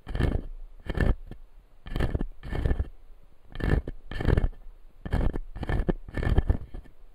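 Fingertips and nails scratch the white resin teeth of a plastic dental model, a clear acrylic lower jaw resting on a light panel. The result is a series of short, gritty scraping strokes separated by brief pauses, with a dull, low-heavy tone.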